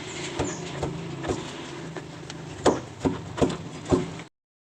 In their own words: Jadi, setelah mengetuknya, kamu pasti bisa mendengar suara klik itu, bung. Itu menunjukkan bahwa bushingnya agak longgar, bro.